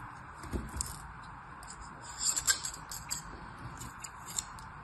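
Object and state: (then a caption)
Kinetic sand being cut and scraped. A black knife blade slices and scrapes across the top of packed red and white kinetic sand filling a teal plastic cupcake mold held in one hand. Soft, bright crunches and gritty scrapes come in scattered bursts over a quiet, steady hiss with a faint tone near 1.6 kHz, the loudest cluster landing midway through.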